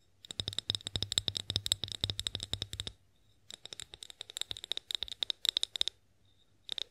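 Long acrylic nails tap and scratch the sides of a tall, clear, hollow, mostly empty glass olive oil bottle. Two quick runs of dry, clicky taps each carry a thin, high glassy ring near 3.7 kHz, separated by a brief pause. A short final flurry closes the clip.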